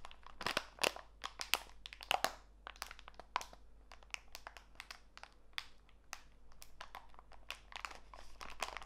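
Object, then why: Plastic bag of walnut pieces. A small clear plastic bag full of walnut pieces is squeezed by fingertips, and the plastic crinkles while the nuts crunch. Many sharp, bright, close-up crackles come in quick, uneven bursts, louder in the first few seconds, then settle into a softer, steady rustle.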